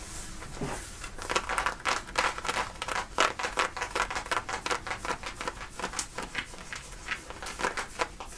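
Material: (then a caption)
Cotton denim. Fingernails scratch and rub the thick cotton fabric at the back pocket of worn light-blue denim jeans. Quick, irregular bursts of dry, raspy friction spread from the midrange into bright highs, with a few sharper scratches standing out over a soft, steady hiss.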